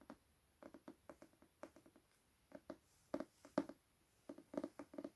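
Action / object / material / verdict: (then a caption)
tap / hardcover book, paper-covered board / paperboard / none. An illustrated Hunger Games hardcover book with its dust jacket removed is tapped on its paper-covered board cover. About 17 soft, dull, muted taps come in irregular clusters, each one short with almost no ring. The taps are centered in the low-mids around 280 Hz.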